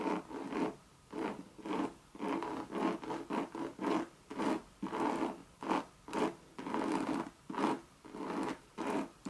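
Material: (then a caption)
Coated canvas. Long red nails scratch a Louis Vuitton monogram coated-canvas bucket bag and its leather rim. About fifteen short, raspy scratching strokes come in uneven bursts with brief silences between them. The scratching is dry and centered in the midrange, with little low end.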